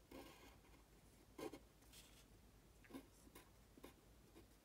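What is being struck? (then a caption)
Pen on a thin paper sheet. A pen scratches across a thin printed paper sheet lying flat while writing Chinese characters, with the other hand's fingertips resting on the sheet. Short bursts of dry, raspy scratching come and go over a low background hiss, with a few brighter strokes standing out.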